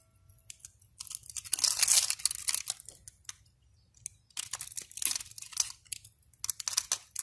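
A utility knife blade scores a grid of small cubes into the surface of a solid, palm-sized yellow bar soap held in the hand, scraping and cutting until the cubes crumble off, with flakes lying on the table nearby. The result is bursts of dry, crisp, bright crunching and scraping that come in irregular clusters, with a quiet pause midway.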